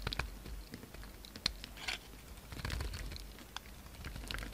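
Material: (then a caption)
Soap. A utility knife blade shaves and scrapes the edges of a faceted, solid pink soap bar held in the hand. The result is quiet, irregular scraping and crisp, bright ticks over a low, soft rumble, with each sharp cut dying away almost instantly.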